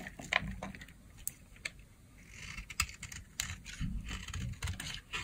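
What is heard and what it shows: A blade scores and scrapes the surface of a solid peach bar of dry soap held in the palm. Quick, dry, crisp clicks and scratchy scrapes come in irregular bursts over a low rumble. Each stroke stops short with no ring.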